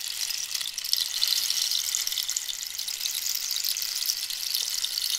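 Long nails scratch across the spiny outer texture of a hollow cactus-wood rainstick held diagonally. The result is a steady, dense, bright scraping rasp with no low end, close to the sound of sizzling.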